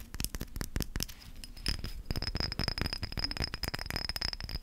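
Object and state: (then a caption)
Glass spray bottle. A small amber-green glass spray bottle with a white spray cap and a label, which appears filled, is tapped quickly with fingernails while held close. The result is a rapid, uneven run of sharp, dry clicks with a faint steady high tone underneath.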